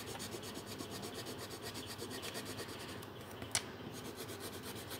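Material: Paper.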